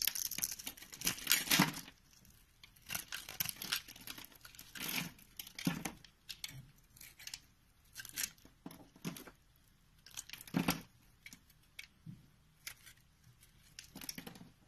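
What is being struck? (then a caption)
Bar of soap. A box-cutter blade scrapes and shaves the surface of a solid rectangular lavender soap bar held in the hand, slicing off thin sheets and small cubes. Crisp, bright scraping and crackling bursts come in uneven strokes, with short quiet pauses between them.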